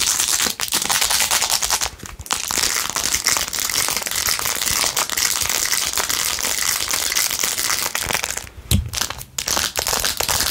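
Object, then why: Plastic phone case covered in rhinestones. Long nails scratch rapidly across a blue, rhinestone-covered plastic phone case, making dense, bright, crinkly scratching that runs almost continuously. The scratching pauses briefly around two seconds and again near the end.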